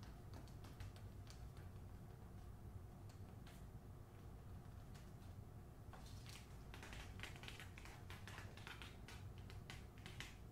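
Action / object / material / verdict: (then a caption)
tap / paper-covered hardcover book / paper, cardboard / none. Long nails tap quickly across the glossy dust jacket and spine of a closed hardcover copy of the novel "The Hacienda," turned toward its spine. The taps come as light, bright, crisp clicks, denser in the second half, over a steady low hum.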